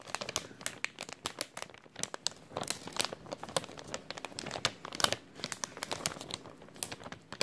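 An empty, thin clear plastic bag with a white label is crumpled and stretched with the fingertips of both hands. It makes a steady stream of bright, crackly crinkles with many sharp snaps, with almost no low end.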